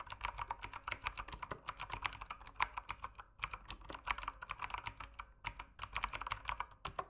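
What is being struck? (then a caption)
Mechanical keyboard with plastic keycaps. Fingertips type on the plastic keycaps of an RGB mechanical keyboard in a steady, fast run of crisp clicks and clacks. The keystrokes are short with almost no ring, centred in the midrange with bright, sharp tops and little low end. Typing continues throughout, with brief pauses between bursts.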